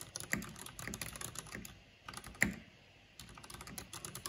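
Fingertips and long nails type on a black plastic mechanical keyboard with a purple backlight, producing clicky key taps. Quick bursts of bright, sharp clicks with short decays are broken by two brief quiet pauses, and one tap lands harder than the rest just before the second pause.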